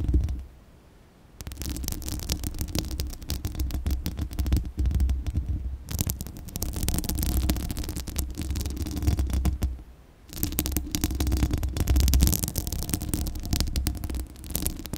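Long acrylic nails scratch the bare steel mesh grille of a large, hollow condenser microphone. The result is dense, rapid, crackling scratches over a deep, boomy low rumble. The sound comes in three long bursts, with brief near-silent pauses around the first and tenth seconds.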